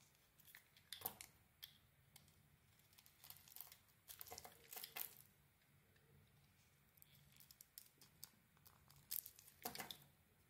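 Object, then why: Bar of soap. A hand-sized solid bar of soap, with a red and brown striped outer layer over a white core, is shaved with a utility knife blade. Quiet, bright cutting and scraping strokes come in irregular bursts, with crisp, crumbly tearing textures and brief pauses between passes.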